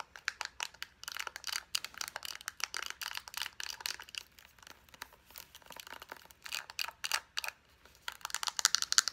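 Long nails tap quickly on a soft plastic lotion tube, striking both its body and its flat white cap end. The taps are light, dry and clicky, with a bright tone and no low end. They come in fast, uneven bursts, and each dies away almost at once.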